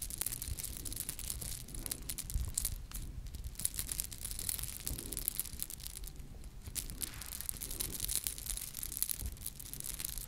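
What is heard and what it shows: A small ornate gold-colored metal charm ornament is held up by its top in front of the microphones and scratched with long lilac nails. The result is a steady stream of fine, crackly scratching with a bright, hissy top and a soft low rumble underneath, with no ringing after each stroke.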